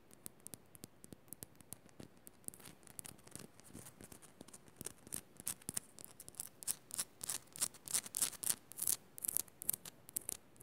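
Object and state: Himalayan salt lamp.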